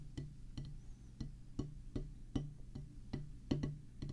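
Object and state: Rubber drum practice pad.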